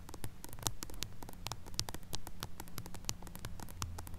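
Long acrylic nails tap and scratch directly on the silver metal mesh grille of a small pink mini microphone with a hollow head. The result is a rapid, uneven stream of sharp, clicky ticks and brief scratchy bursts. A steady low hum and faint static run underneath.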